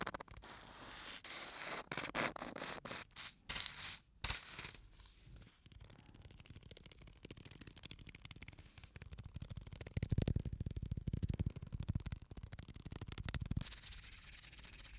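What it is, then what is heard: Sand-filled bottle. A small clear bottle of plastic or glass, mostly full of fine white sand and closed with an aluminium screw cap, is held in both hands and tilted and turned so the sand slides and rubs inside. The sand makes a dry, grainy hiss with bright scratchy bursts at first, then a lower, fuller rushing swish as it shifts in longer pours.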